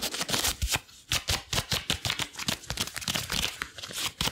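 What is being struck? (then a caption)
Rubber gloves. Long blue rubber gloves worn on both hands are pressed together palm to palm and fingers to fingers, then rubbed and squeezed. This produces a rapid series of short, bright squeaks and sticky rubbery rasps, with brief quieter gaps between bursts.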